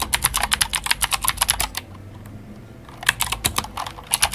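Fingertips of both hands type on a full-size white Glorious GMMK White Ice mechanical keyboard with plastic keycaps and clicky Gateron Blue switches. A rapid run of sharp, bright clicks with very little low end plays for almost two seconds. After a quiet pause of about a second, the typing picks up again until the end.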